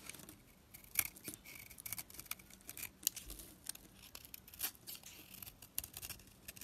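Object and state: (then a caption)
Soap bar being shaved with a blade. A utility knife blade scrapes and shaves crumbly flakes off a solid, hand-held pink opaque household soap bar. The clip is a quiet, irregular series of short, dry, bright scraping strokes with crisp, crackly edges and almost no low end.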